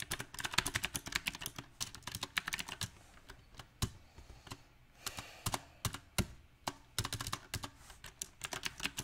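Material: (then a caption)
Plastic. Fingertips type on a backlit compact mechanical keyboard with round, typewriter-style plastic keycaps set on a silver metal frame. Quick bursts of sharp, bright clicking keystrokes alternate with brief pauses and a few isolated, louder taps. The rhythm is uneven throughout, and each keystroke dies away almost instantly.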